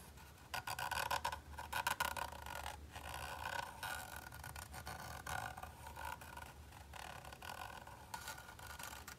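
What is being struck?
Textured plastic controller grip.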